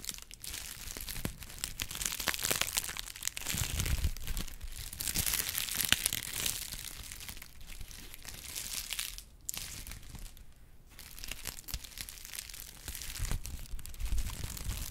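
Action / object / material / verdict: scrape / honeycomb kraft paper tube / kraft paper / none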